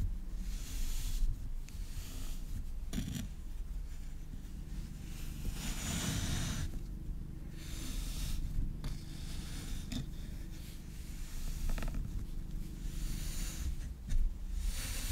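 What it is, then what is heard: Kinetic sand being kneaded. A lump of pink kinetic sand on a wooden board is squeezed, kneaded and rubbed by both hands with long red nails. It makes a steady, soft granular rustle and crunch over a low, muffled rumble, with brief brighter crackles as the solid mass is pressed and worked.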